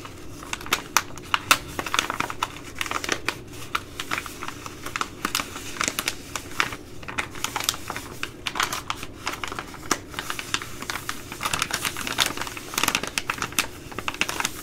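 A Ready Rice plastic laminate pouch is crinkled and scratched with long nails, giving a steady stream of sharp, bright crackles and quick clicking scratches. The short, dry crinkles come in dense clusters over a faint low hum, with louder bursts scattered throughout.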